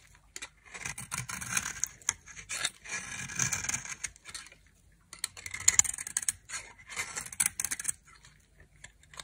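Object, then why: Bar of soap carved with a knife. A knife carves and scrapes a hand-held, solid white dry soap bar with a red rim, shaving off white flakes. Bright, dry scraping and crisp cutting strokes come in two long bursts separated by a short pause, with almost no low end and no ring after each stroke.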